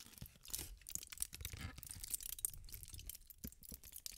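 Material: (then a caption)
Aluminium foil. A crumpled aluminium foil sheet, held in the hand, is twisted and crinkled with fingertips and long nails. The result is a quiet, continuous run of sharp, bright crackles and crunches over a soft low rustle, with short pops that die away almost instantly.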